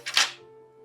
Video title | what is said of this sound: Rex Reacts: The Most Steampunk PC in the World | it sounded like it was some sort of plastic or resin